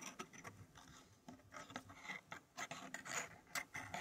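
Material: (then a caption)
Wood. Fingertips of both hands slide and scrape thin, flat wooden fractal pieces across the base of a square wooden tray puzzle. Quiet, dry, rasping scrapes and light clicks come in an irregular stream of short bursts, bright and centred around 2 kHz with little low end. Each sound stops at once, with no ring.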